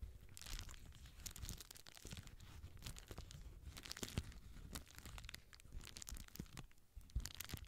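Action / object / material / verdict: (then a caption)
scrape / plastic bubble wrap sheet / plastic / none. A small rectangular sheet of clear plastic bubble wrap is held in both hands close to a microphone while fingers squeeze and crinkle its air-filled bubbles. Dense, continuous crinkling and crackling is heard over a low handling rumble, with sharp bright snaps popping out at irregular moments.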